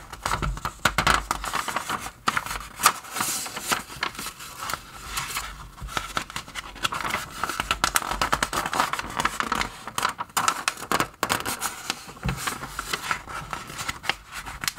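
Fingers grip the edges of thin glossy pages in an open magazine and flip them over one by one, forwards and backwards. Each turn gives a crisp, bright rustle and crinkle with quick swishes and soft snaps as the page lands, in a steady run of close, dry page turns.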